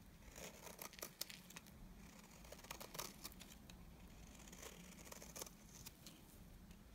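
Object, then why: Bar soap scraped with a knife blade. A utility knife blade scrapes shavings off the face and edge of a solid, dry cream bar soap. The result is a quiet run of dry, bright scratching strokes with crisp, high crackles over a low background hum.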